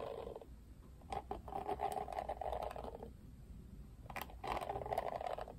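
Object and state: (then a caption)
Plastic paddle hairbrush bristles. Fingertips scratch and flick the plastic bristles of a plastic paddle hairbrush with a black cushion. Bursts of raspy, buzzing scratching carry a steady mid-pitched tone around 700 Hz, broken by sharp, bright flicking clicks. Quieter gaps separate the scratching passages.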